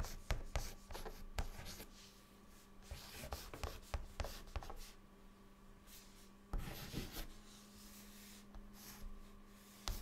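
A white chalk stick held in the fingertips writes words across a flat, solid, dark chalkboard. Quiet, dry scratches and sharp taps come in short bursts with brief pauses between strokes. A faint, steady low hum sits underneath.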